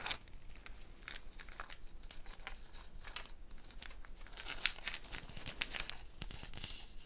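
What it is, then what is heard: Gourd shaker with bead net. A hollow dried gourd shaker covered by a string net of wooden beads is held up by the neck and moved and shaken, with the beads rattling against the gourd shell. The rattle comes as a quiet, dry, bright swishing in uneven bursts, with a few sharper clicks standing out near the middle and end.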